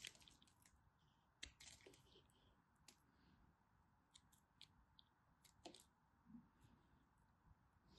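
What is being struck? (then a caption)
Bar of soap cut with a blade. A craft knife carves crunchy bits off a small remaining chunk of dry, solid teal-and-white striped bar soap held in the fingers. Quiet, bright, crisp crunches and scrapes come in short bursts that stop dead with no ring, over a soft, steady background hiss.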